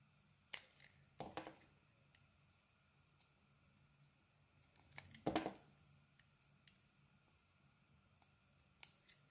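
A solid, egg-shaped beige bar soap with a purple inlay is held in the palm and shaved into smooth curls with a snap-off metal blade. Quiet, sparse, crisp scraping strokes and short clicks are heard, with two louder, longer shaving bursts. A faint low hum sits underneath throughout.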